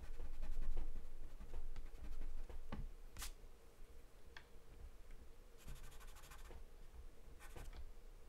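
A wooden pencil scratches short strokes on a thin, flat sheet of white drawing paper taped down. Quiet, bright scratchy scribbles come in uneven bursts over a steady low hum, louder in the first few seconds and softer afterward.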